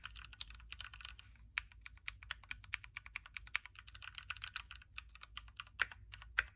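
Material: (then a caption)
Plastic. Fingertips of both hands type continuously on a backlit Keychron Q3 Knob hot-swappable mechanical keyboard with red switches, a metal case and plastic keycaps. A rapid, steady stream of short, dry, bright clacks with almost no low end carries on throughout, with a few sharper, louder strikes near the end.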